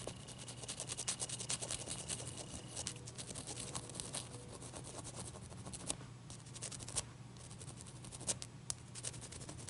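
Long nails scratch and rub across a large, clear, solid, wet ice cube. It makes a quiet, continuous dry scraping full of bright, crisp ticks and sharp clicks. A steady low hum runs underneath the whole time.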